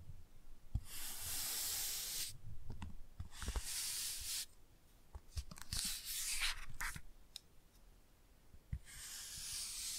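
A toothbrush brushes the glossy cover of a laminated cardboard board book, making long, bright, hissing scrubbing strokes. Quiet pauses and soft low taps and thumps separate the strokes.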